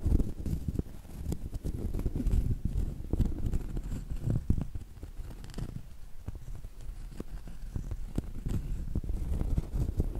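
A small, round, solid cork coaster held at an angle has its face and rim tapped and scratched with long acrylic nails. The result is a steady run of quick, dull, low thuds with a soft scratchy rustle underneath, each tap dying away almost instantly, with no brightness or ring.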